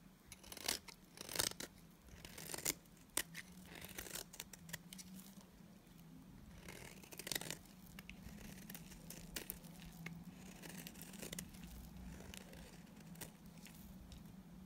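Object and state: Dry soap bar being shaved.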